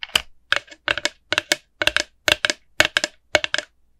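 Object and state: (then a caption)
Hollow plastic pumpkin bucket. Long nails tap and scratch a small, hollow, empty orange plastic jack-o'-lantern bucket with a black wire handle. Quick clusters of two or three sharp, dry clicks repeat steadily, with a hollow tone around 600 Hz, bright scratchy overtones and almost no ring.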